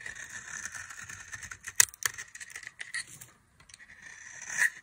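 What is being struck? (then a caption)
Soap bar scraped with a small knife. A small knife scrapes the face of a solid, dry orange soap bar held between the fingers, peeling off thin shavings. The result is a bright, dry, scratchy rasp with a few sharper clicks and a short pause. The scraping swells louder again at the end, with almost no low-end body.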